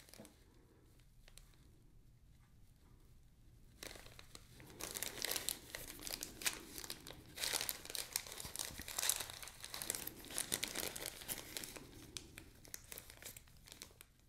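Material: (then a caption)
Plastic. A small clear plastic zip-lock bag, partly full of white sand, is handled and crinkled between the fingertips of both hands as it is opened over a black tray. After about four quiet seconds, dense, bright crinkling and crackling fills the rest of the clip, peaking mid-clip and softening toward the end.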